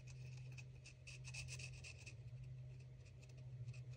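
A felt-tip marker tip is rubbed in quick strokes over a small white, apparently hollow plastic toy egg held in one hand, colouring in a printed character outline while a second marker is held but not used. Scratchy, raspy rubbing bursts with a bright edge come and go over a steady low hum that runs throughout.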